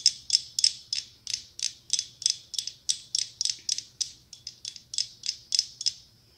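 Long pink acrylic nails tap and scratch a small, hollow, hand-held pumpkin ornament covered in red, brown and gold glass mosaic tiles. About 23 sharp, bright, high-pitched clicky taps repeat at a quick, slightly uneven pace, each with a short rasping scrape and almost no ring.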